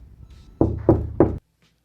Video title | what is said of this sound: Interior door replacement. The ultimate guide. | is it Hollow or is it solid knocking on the door will let you know you can hear and feel the difference